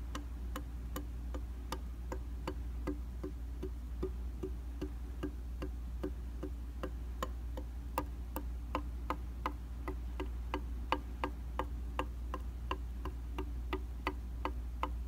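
A rubber-tipped tool taps the surface of a dry, round glass vanity makeup mirror in a steady, even rhythm. Each tap gives a short, bright click with a glassy ring near 920 Hz that fades quickly, over a constant low hum.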